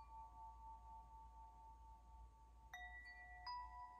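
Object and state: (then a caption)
Metal tube wind chime. A hollow metal tube wind chime held by its string has its tubes nudged by fingers, ringing as they swing. A sustained tone near 1 kHz fades in from the start, then two fresh strikes add bright, layered metallic tones that keep ringing. A low, steady rumble sits underneath throughout.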